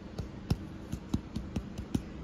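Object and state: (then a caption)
Homemade bread loaf, baked through (hollow). Eight soft, dull taps on a loaf of fresh homemade bread, each a short low thump with little ring. The loaf sounds hollow, showing it is baked through.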